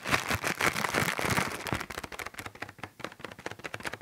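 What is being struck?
Thin plastic bag.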